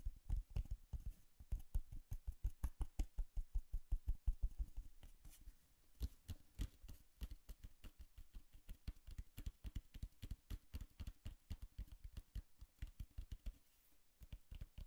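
Long nails tap quickly on a small, hollow, brown cardboard box held close to the mic, making a fast run of short, dull, low thumps. Each tap dies away almost at once with a dry, papery tick on top. The rhythm is uneven, with brief pauses, and the tapping is softer in the middle of the clip.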